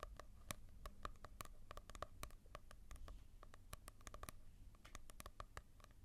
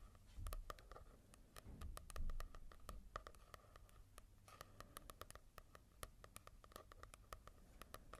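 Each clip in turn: First: glossy-covered paperback book. Second: fingertip tapping on a matte-covered manga book.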